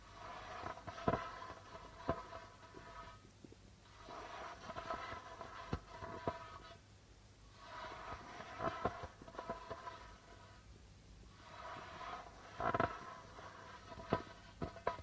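Fingertips and nails tap the white plastic membrane of a hollow darbuka drum, producing soft, rapid tapping with a steady tonal ring in the midrange. Sharper, louder taps stand out against the patter, and the tapping comes in bursts of about three seconds separated by brief quiet gaps.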